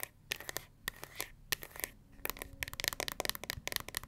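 Long nails flick the black pins of a pink plastic paddle hair brush, then tap and scratch its smooth, hollow pink plastic back bearing a gold S logo. The result is a quick run of crisp, dry clicks and taps with a bright, scratchy edge and a light hollow tone near 1.9 kHz, each snapping off with no ring.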